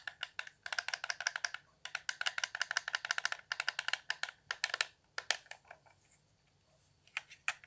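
Fingertips tap rapidly on the buttons and hollow shell of a handheld, transparent plastic Xbox One controller with blue LEDs. Dense flurries of crisp, clicky plastic ticks centre near 1.8 kHz with bright highs and no low end, each dying away almost instantly. Brief pauses break up the tapping, then it thins out into a quiet stretch before a few last taps.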